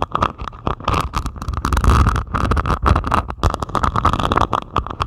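Long pointed acrylic nails scratch across the beaded surface of a flat diamond painting made of plastic resin drills on canvas. The result is dense, rapid, rattling scratches with a steady mid-range tone and a deep low rumble underneath.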